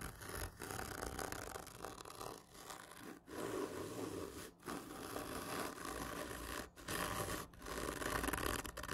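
Long painted fingernails scratch over the medal stickers on a black printed cardboard whisky gift tube lying on its side, its hollow, textured surface giving off a continuous dry, broadband rasp with low body. The scraping comes in sustained strokes separated by brief pauses, with no speech.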